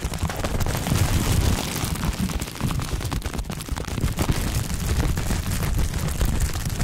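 Air-filled bubbles on a clear plastic bubble wrap ball are pressed and popped with the fingers and fingertips. A dense, continuous stream of sharp pops and crackles runs throughout, with a heavy, muffled low-end thump beneath and little brightness on top.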